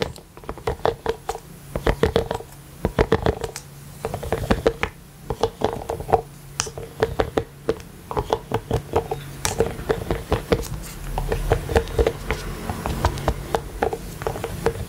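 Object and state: Silicone collapsible water bottle.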